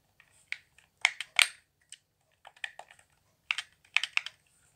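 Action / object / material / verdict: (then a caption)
tap / plastic game controller / plastic / none. Fingertips tap and click the buttons and tap the hollow shell of a handheld, transparent plastic Xbox One controller with blue LEDs and a cable attached. Bursts of short, bright, crisp clicks and taps with almost no low end come in quick clusters separated by brief pauses.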